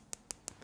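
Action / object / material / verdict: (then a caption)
tap / plastic clothing button / plastic / fake. A fingernail taps a plastic clothing button made to imitate horn four times, the last tap softer. Each tap is a sharp, bright, dry click with no ring, giving the plasticky sound that marks it as plastic rather than real horn.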